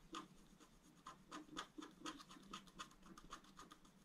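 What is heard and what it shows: A wooden stylus scratches small areas on a flat, thin, solid black wax-coated scratch-art card. It makes a quick, irregular series of short, dry scraping strokes with a bright, papery edge centred around 1.2 kHz. The scratches are quiet, with no ring after each stroke.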